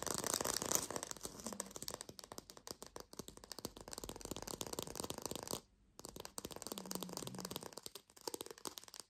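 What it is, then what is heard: Fake plastic lime. A small green artificial lime, likely hollow plastic or foam, is fast-tapped with long pink fingernails. Rapid, bright, dry clicking taps run in a dense, uneven stream, with a brief silence just before the six-second mark before the tapping resumes.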